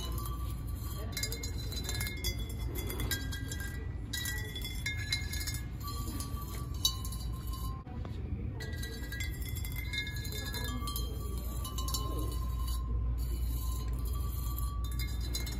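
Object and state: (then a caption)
Hollow ceramic vase. Long acrylic nails tap and scratch along the ribs of tall, hollow, empty white ribbed ceramic vases standing on a store shelf. Bright, clinking taps with short ringing tones sound over a steady low hum.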